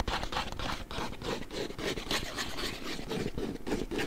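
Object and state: Hollow cardboard box.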